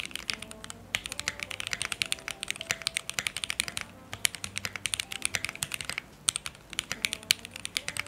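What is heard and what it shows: A full-size Keychron Q1 mechanical keyboard with lubed Alpaca switches, a dark metal case, and red, cream, yellow and teal plastic keycaps rests on a light surface with a coiled cable while both hands type with their fingertips. The result is a rapid, steady stream of bright, short key-press clicks and clacks with almost no ring and very little low end, broken by brief pauses.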